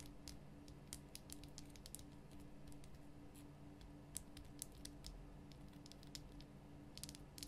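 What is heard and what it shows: Long nails tap the top and sides of a large, rough, glowing pink Himalayan rock salt lamp, a solid salt block. Many quiet, sharp, bright clicks and light scratchy taps sound at an uneven pace. A steady low hum continues underneath.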